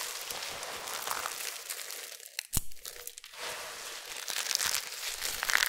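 Bare hands covered in white starch scoop, squeeze, crush and rub a large pile of small, dry, brittle amber soap flakes on a flat surface. A dense, bright crinkling and crunching plays almost continuously, with a brief quieter dip and a sharp crack near the middle.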